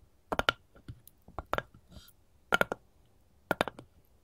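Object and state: Wooden cutting board tapped with metal nail tips.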